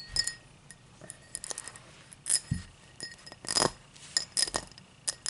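A tall drinking glass is tapped and scratched, giving a quick series of bright, clear clinks with short, dry decays. Between the sharper taps come softer scraping sounds, with a quiet background hum underneath.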